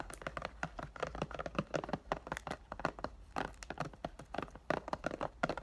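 A rectangular cardboard "Thank U Next" perfume box, wrapped in clear plastic and held in both hands, is tapped rapidly by fingertips from behind and along the sides. The result is a quick, uneven run of short, dry, mid-pitched taps with faint crinkling from the plastic wrap.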